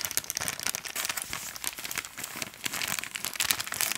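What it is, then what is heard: Plastic bag of cotton pads. A soft, hand-sized printed plastic bag full of organic cotton pads is held in both hands and squeezed and crinkled with the fingertips. A dense, steady run of bright, crackly plastic crinkles with very little low end continues for the whole clip.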